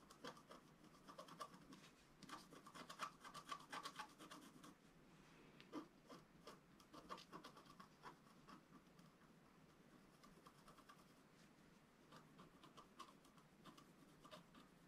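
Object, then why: Scratch-art paper sheet scratched with a wooden stylus. A wooden stylus scratches short strokes near the lower right of a flat, black-coated scratch-art sheet, about A4, lying on a table. The quiet, dry, rasping scrapes come in irregular bursts with a bright, papery edge. They are busiest in the first half and thin out to softer, sparser strokes toward the end.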